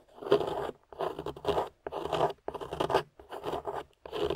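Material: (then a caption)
Clay. A thin metal spatula scrapes and digs into the powdery beige clay crust on a small, solid, translucent amber glycerin soap bar held in the hand, and crumbs fall around it. Six separate bursts of gritty, crunchy scraping are heard, with short silences between strokes.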